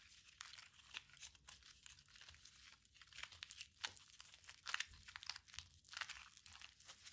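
A small, solid, walnut-sized ball of crumpled aluminium foil is squeezed and rubbed between the fingertips of both hands. The result is a quiet, steady stream of bright, dry crinkling and crackling with sharp, fast-fading snaps and almost no low end.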